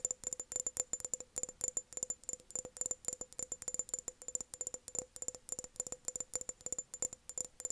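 An empty, hollow glass mason jar, held tilted with its base outward, is tapped and rattled with long nails. The result is a steady stream of quick, dry, bright clicks with almost no low end, each dying away almost instantly. A faint ringing tone persists beneath them.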